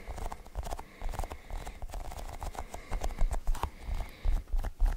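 A cluster of colored sticky rubbery balls is held in both hands while fingers press and pull the balls apart. It makes a quick, uneven run of soft, low sticky pops with short bright clicks.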